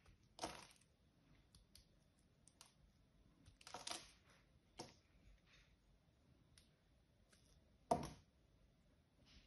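A small metal blade cuts and scrapes chunks off a solid, hand-sized blue bar of soap held in one hand, and the pieces fall onto a pink mat. Short, crisp, bright scraping crunches stand out against a quiet background, with the loudest ones spaced a few seconds apart and softer clicks in between.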